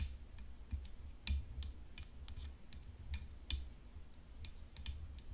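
Long painted fingernails tap the hollow composite frame edge of a rhinestone-decorated graphite composite tennis racket. The taps are short, bright clicks at an irregular pace, with two louder ones standing out, over a faint steady high whine and a low rumble.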